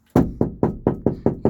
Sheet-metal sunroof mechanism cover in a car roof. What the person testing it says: that is pretty drummy so um you can hear that sort of drumming away